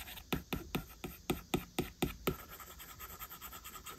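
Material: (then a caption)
Glass. A plastic stylus tip draws short strokes and taps on the glass screen of an iPad while fingertips of the other hand touch the screen. Nine sharp, dry taps with bright, scratchy edges come in a quick, slightly uneven rhythm, then give way to softer, quieter scratching strokes.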